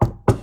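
Two knocks on a real wooden desk, made as a "knock on wood" about not having Joy-Con drift. Each is a short, dull, low wooden thud with little high end and a quick decay, the two spaced about a quarter second apart.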